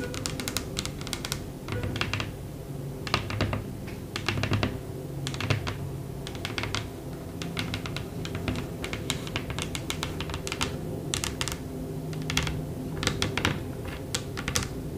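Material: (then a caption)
Bamboo wood. Long acrylic press-on nails on both hands tap rapidly on the bare surface of a solid, light bamboo wooden tabletop, like typing. The result is a quick, uneven stream of short, sharp clicks that die away almost instantly, over a steady low background hum.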